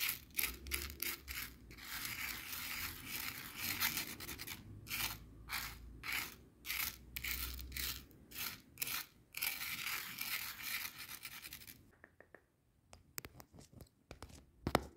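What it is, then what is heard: Coarse bath salt crystals scratched on a plastic board. Coarse bath salt grains on a white plastic cutting board are scratched with a wooden skewer by a hand with long nails. Fast, gritty, bright scraping bursts come in quick rhythmic strokes. Toward the end it drops to sparse, sharp crystal ticks and clicks.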